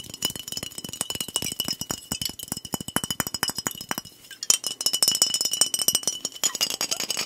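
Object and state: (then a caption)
Glass bottle with liquid. A fingernail taps rapidly on the glass body of a soda bottle with a blue cap and liquid inside, producing a fast stream of sharp, bright clinks with almost no ring. A faint steady tone near 3 kHz runs underneath, and the tapping briefly thins out around the four-second mark before resuming louder and busier.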